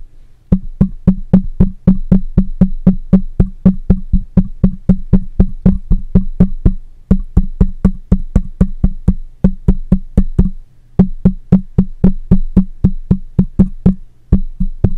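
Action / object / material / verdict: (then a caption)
tap / metal mesh microphone grille / metal mesh / none. A black microphone with a metal mesh head is tapped on the top and side with the fingertips and nails of one hand. About 55 quick, dry taps come at a steady rapid pace, grouped into runs with brief pauses near 7, 11 and 14 seconds. Each tap is a short, low, muffled thump centred near 190 Hz with a faint bright click on top, dying away almost at once.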